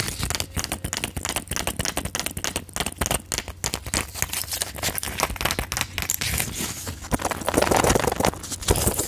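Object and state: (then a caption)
Plastic and foil pill blister pack. A silver plastic and foil pill blister pack with rows of plastic bubbles is held close to the mic while long acrylic nails tap and click on the bubbles. The result is a dense, uneven stream of sharp, bright plastic clicks and crinkles over a faint low hum. The taps grow louder toward the end.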